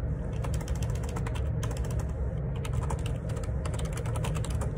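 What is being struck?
Plastic computer keyboard.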